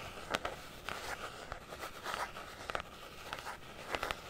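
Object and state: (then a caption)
Hard-shell zippered carrying case. Long nails tap and scratch a closed, hollow, rectangular black hard-shell zippered carrying case with a fabric-covered molded EVA look, about the size of a handheld console, held in both hands above the mic. Soft, dry clicking taps come at uneven intervals over a continuous scratchy rasp, mostly in the midrange with a bright edge. Each tap dies away at once with no ring.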